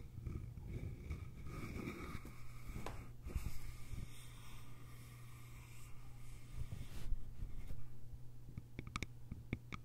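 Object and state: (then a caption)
Bamboo lidded container. Long nails tap and scratch the sides of a small, hollow, cylindrical bamboo container with a lid. Soft scratching and brushing run under a steady low hum, with quick, sharp, bright clicks near the end.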